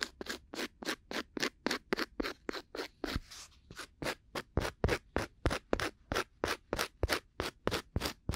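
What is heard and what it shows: A thin, solid, coaster-sized round cork disc held in one hand beside a binaural mic is scratched with two bamboo ear picks held together in short scraping strokes. There are about 27 quick, dry, bright scratches in a fast, slightly uneven rhythm, each one brief and with no ring.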